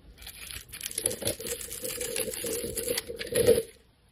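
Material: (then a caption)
Soap. A metal blade cuts and scrapes the scored surface of a solid rectangular neon green soap bar held in the hand, shaving it into crumbs and strips. Dense, crisp crackling and rasping carries a steady mid-range tone near 460 Hz, with bright gritty edges throughout. The scraping swells to its loudest just before the end, then stops abruptly.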